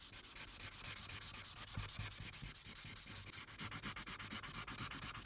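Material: Paper.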